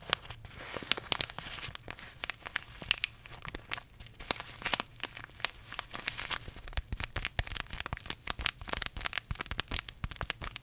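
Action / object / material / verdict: scrape / paper tea bag sachet / paper / none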